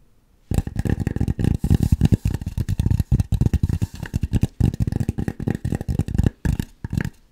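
Long nails rapidly scratch and tap on a white styrofoam mannequin head held close up, making dense, dry, low-heavy scuffing and thumping bursts. The bursts come in stop-and-go clusters broken by short pauses, with no ring after each contact.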